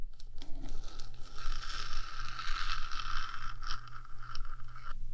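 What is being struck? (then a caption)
Metal microphone housing. Long fingernails on one hand scratch and tap across the top of the hollow metal box of a 3Dio microphone, giving a steady, bright scraping texture with a faint metallic ring. A constant low hum sits underneath throughout.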